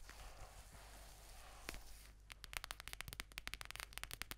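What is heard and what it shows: A mint-green faux-fur-covered notebook with a "Chill Pill" patch, held close to the mic, is rubbed and scratched with fingertips and long nails. A soft, airy rubbing hiss fills the first two seconds, then gives way to a quick run of crisp, bright scratches and clicks over a faint low hum.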